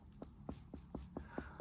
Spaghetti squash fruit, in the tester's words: if you tap it that doesn't sound very Hollow